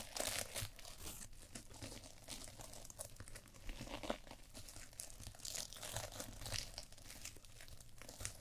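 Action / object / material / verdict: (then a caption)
scrape / sequin fabric pad / sequins / none. A small reversible sequin fabric eye mask, held over the forehead of a glossy black mannequin microphone head, is scratched and rubbed with long painted nails. The result is a steady stream of close, dry crinkling and scratchy rustles, with bright, crisp highs over a soft low rumble.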